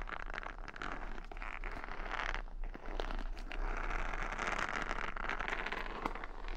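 Long nails scratch and flick the bristles of a wooden paddle hair brush with beads, held close to the microphone. The result is a steady run of dense, crackly scratches and quick ticks, brightest in the mids over a constant low hum.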